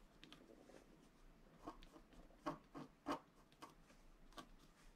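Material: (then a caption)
Coated paper. A wooden stylus scratches a flat, black-coated scratch-art card resting on a table, making many short, dry scraping strokes. The quiet rasps come in an uneven rhythm, with a few louder, brighter scratches standing out from the soft background scraping.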